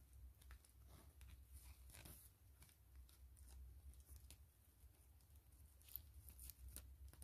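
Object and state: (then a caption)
PVC mesh zipper pouch. Long fingernails tap and scratch a clear-gray PVC grid-mesh zipper pouch lying flat, soft and hollow. Quiet, irregular crisp ticks and rasping scratches sit over a steady low hum.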